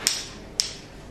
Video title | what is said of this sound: The Science of a Perfect Guiness Pint | you tap it with a coin, it sounds like the glass is actually made of plastic